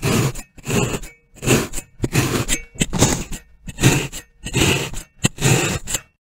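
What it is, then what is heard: Kinetic sand block punctured with a fork. A metal fork's tines are stabbed again and again, in rows, into the top of a solid, roughly hand-sized molded brick of orange-brown kinetic sand resting on a white surface. Each jab gives a crunchy, scraping puncture with a low thud and a bright grainy hiss, coming in an uneven rhythm of short bursts.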